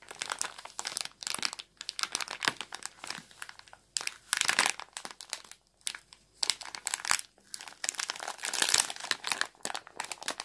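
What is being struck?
Small plastic bag of ground black pepper.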